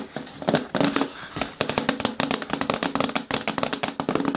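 Fingertips and long nails rapidly tap and scratch the flat face of a hollow green hard plastic bin with a lid, lying on its side. The sound is a dense run of sharp, bright clicks with a short hollow, low-mid resonance and brief scraping between taps.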